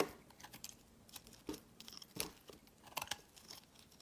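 A hand-sized, solid white bar of soap is held in the fingers and shaved with a metal utility knife blade, peeling off thick curls. A series of quiet, crisp scraping and crackling cuts comes through with bright, dry edges. Each cut stops almost instantly, with no lingering ring.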